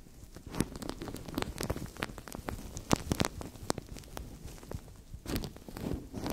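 Fingers scratch, squeeze and crinkle a translucent thin plastic bag stretched over a microphone. Irregular crackles and sharp, bright crinkling snaps ring out over a low, rustling rumble. Quieter scratchy stretches fall between louder bursts of squeezing.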